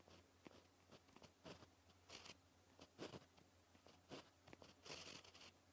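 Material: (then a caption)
Paper. A white gel pen writes on a black paper sheet, its tip scratching across the surface in short, quiet strokes. The scratches come as separate bursts of bright, papery rasping over a faint low hum.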